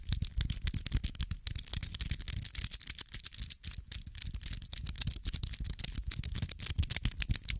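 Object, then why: Small metal infinity cube of hinged blocks. A small metal infinity cube, made of solid blocks on hinges, is folded open and shut by fingers. It makes a dense, irregular run of sharp, bright clicks and rattles with a low thump under them. Each click dies away almost instantly.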